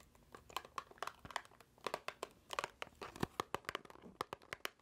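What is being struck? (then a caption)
Small paperboard box. A small, hollow white paperboard box is held in the hands and squeezed, tapped and scratched with long nails. About two dozen quick, dry clicks and taps mix with crinkling and scratchy rustles. The sound is quiet and close, with little low end, and each hit stops almost at once with no ring.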